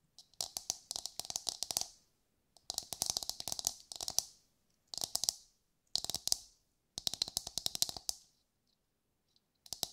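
A hollow brown fibrous coconut shell half, held in both hands, is tapped and scratched with long nails. Quick, bright clicks come in five dense bursts separated by short silences, and one more burst starts at the very end. A faint hollow tone sits beneath the sharp, dry taps.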